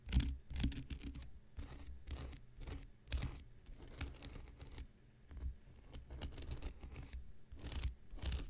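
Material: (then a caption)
Cellulose. An X-Acto knife blade scratches the edge and surface of a light blue, porous cellulose sponge, a thick hand-sized block held in the hand. The result is a quick, irregular run of short, dry scratching strokes, each a brief bright rasp over a low, soft thump that dies away almost at once.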